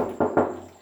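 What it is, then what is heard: Solid steel pedal car body. Two knocks on the solid steel body of a vintage pedal car, at about 0.2 and 0.37 seconds. Each gives a dull, mid-pitched thud that fades quickly, and the body sounds solid.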